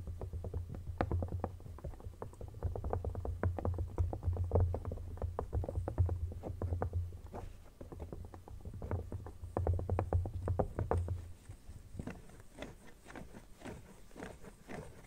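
Fingernails scratch and tap inside an empty red silicone phone case lying open, then move to its rim, making rapid, irregular soft clicks and scratchy patter over a steady low hum. Around the twelfth second the hum drops away and the taps become quieter and sparser as the nails work along the rim.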